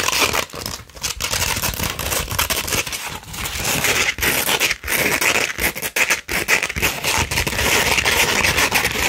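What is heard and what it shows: A coarse 60-grit sandpaper sheet, first flat and then rolled into a cone, is scratched with long red nails. The result is a dense, gritty, bright scraping with a strong band around 2 kHz, broken by brief dips between strokes.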